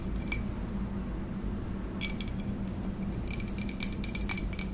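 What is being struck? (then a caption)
Ceramic mug. Long acrylic nails tap the outer wall of a hollow white ceramic coffee mug held in both hands. The result is a scattered run of quick, bright clicks with a faint high ring that dies away almost at once. A steady low hum sits underneath, and the taps grow denser and louder toward the end.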